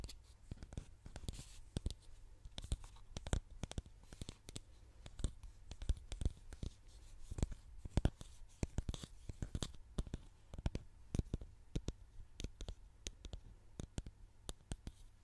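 Long nails tap and scratch the front and label of a medium orange plastic styling cream bottle with a white top, hollow, held in both hands close to the microphone. Rapid, sharp clicks and taps rise through dry, bright scratching over a quiet, steady low hum. Each tap dies away almost instantly.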